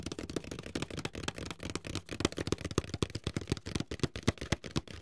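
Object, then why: Closed paperboard box tapped with fingertips. Fingertips tap the sides of a medium, closed, hollow white paperboard box held upright in both hands. A quick, irregular run of soft, dull, hollow knocks sounds, each short and low-toned with a faint papery brightness. No ring lingers after any tap.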